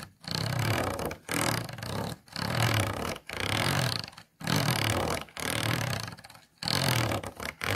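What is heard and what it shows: A thin plastic stick is scratched along the inside of an empty, hollow, clear plastic food container with ridged walls. It makes a series of rasping scraping strokes separated by short pauses, with a hollow low body and a bright, crackly texture from the ridges.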